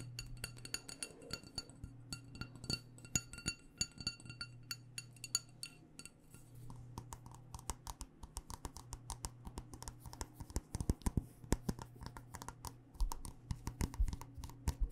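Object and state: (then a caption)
Glass candle jar. Long nails tap rapidly on the sides and white paper label of a black glass candle jar filled with wax. Short, sharp clicks come in quick irregular bursts, with a faint bright glassy ring behind them for the first few seconds, and the taps grow denser and louder later on. A steady low hum runs underneath throughout.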